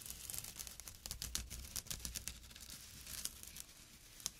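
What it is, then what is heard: Jute burlap drawstring pouch. Fingernails and fingertips scratch a small, flat, empty jute burlap drawstring pouch near its drawstring edge as it rests on dark cloth. The scratching comes as quick, dry, rough bursts of bright, crinkly rasping that stop dead with no ring, over a faint steady low hum.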